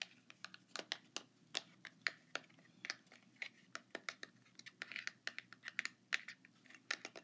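A small, hollow printed cardboard cosmetic box (Ciaté Marbled Metal packaging), held in both hands, is tapped and scratched with fingertips and short nails. About thirty-three quick, dry, bright clicks and light scratches come in an irregular stream, each dying away almost instantly over a quiet, faint background.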